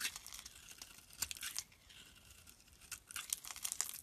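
A palm-sized, solid green-and-white striped bar of soap is held in the hand and carved into curls and chips with a metal utility blade. The cuts make quiet, crisp scraping and crinkling sounds, almost entirely high and bright with very little low end. Sharper bursts stand out between softer stretches of shaving.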